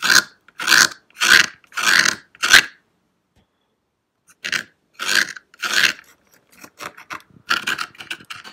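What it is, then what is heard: Plastic toy castle tower. Fingertips and nails scratch and tap the brick-textured surface of a hollow grey textured plastic model castle tower on a green base in a nativity scene. Five rasping scratch bursts are followed by a pause, then three more scratches and a run of lighter, quicker taps and scrapes.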